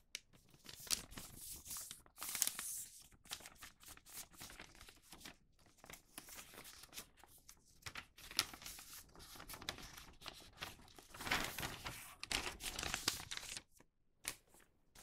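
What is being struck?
Thin printed newspaper sheet.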